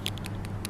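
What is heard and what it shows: The hardened, caramelised burnt-sugar crust on a creme brulee custard, which has set into a single sheet and is not yet refrigerated, is tapped close to the microphone so it will crack. A quick series of light, crisp, bright ticks sounds over a steady low hum. The sugar topping is confirmed to have hardened.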